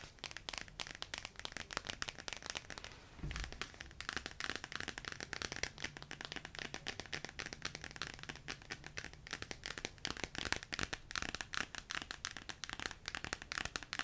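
Long yellow nails scratch and tap across the glossy laminated card cover and edges of the paperback picture book "The Wonky Donkey," held close. The result is a dense, continuous stream of quick, bright, crisp scratches and clicks with a crinkly texture and almost no ring. There is a brief low thump just after three seconds.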